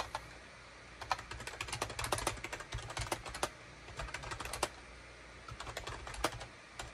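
Fingertips type on a gray SHIPADOO K600, a full-size gray and beige plastic wired USB keyboard with hollow plastic keycaps. Quick runs of short, bright, clacky key taps come in bursts, with brief pauses where only a low, steady hum remains.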